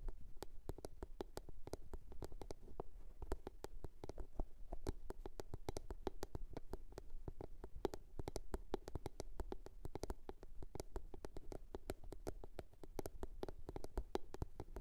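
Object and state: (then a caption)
Box. A blue box is tapped and scratched with no talking, giving a quick, steady stream of short, dry taps. Each tap has a low, hollow body around 380 Hz with brief bright clicks on top, and the taps die away almost instantly. The sound stays quiet and even throughout.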